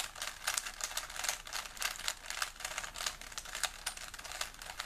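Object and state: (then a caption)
Plastic puzzle cube being twisted. A small solid plastic 3x3 Rubik's cube is held in both hands while fingertips rapidly twist its layers. The result is a dense run of quick, bright plastic clicks and rubbing with almost no low end, each click dying away instantly.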